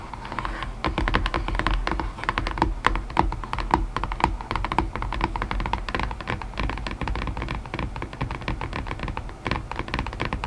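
Long painted nails tap rapidly on a hollow white cardboard puzzle box, its lid resting loosely on its base. A steady stream of short, dry clicks with a hollow low thump underneath continues through the clip, each tap dying away almost at once.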